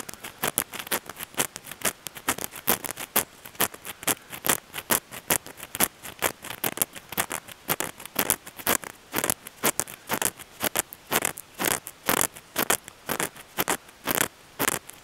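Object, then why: Moss-covered stone boulder. The fingertips and nails of one hand scratch and rub a large solid stone boulder partly covered in moss, outdoors among leaves. Dozens of short, dry, bright scrapes follow each other at an irregular, fairly quick pace with almost no low end. Each one stops dead with no ring.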